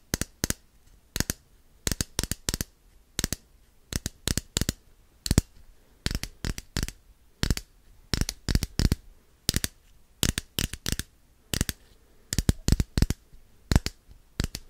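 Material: Plastic.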